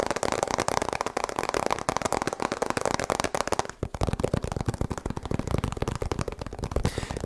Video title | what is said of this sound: ASMR Fast Tapping & Rambling - Soft Spoken Male Voice | has a lot more of that Hollow sound because obviously it is hollow